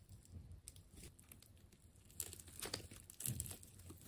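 A partly cut ball of wound purple and blue plastic tape is sliced with a utility knife. Soft crinkling and tearing build into louder, sharp rips with bright crackle over a low rumble.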